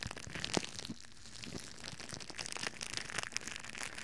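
A thin, crinkly red plastic bag, hollow and loosely bunched, is held in both hands in front of the microphone and crumpled and scrunched with the fingers and palms. A steady stream of bright, dry crackles and crunches is heard, with a sharper crinkle early on and a brief quieter lull before the scrunching picks back up.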